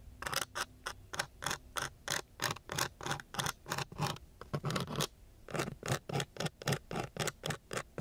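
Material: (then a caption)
Sandpaper. A thin wooden stick scratches across a coarse brown sandpaper sheet in quick, repeated strokes. Each stroke gives a short, bright, gritty rasp over a faint low rumble, with a brief pause near the middle before the strokes resume.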